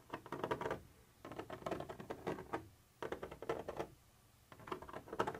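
A black pointed pointer tool scratches and taps across a white textured plastic surface with a molded ridge, apparently the wall of a hollow container. Four bursts of quick, dry, clicky scratching and tapping are heard, separated by short pauses. The sound is mostly midrange, with little low rumble and only faint bright edges.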